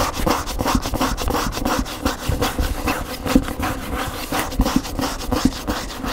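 Fingers and nails scratch and rub the glossy back cover of an upright large paper hardcover cookbook, then scratch along the edge of its front cover. The result is a steady run of quick, dry rasping strokes with a papery, woody body and a thin bright hiss, marked by short sharper scrapes throughout.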